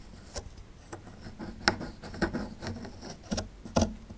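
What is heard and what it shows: A small solid plaster fossil excavation block, held in one hand, is scraped and chipped with a small metal chisel tool. Several sharp, dry clicks and scratchy chips stand out irregularly over a soft, continuous gritty scraping, each click dying away almost at once.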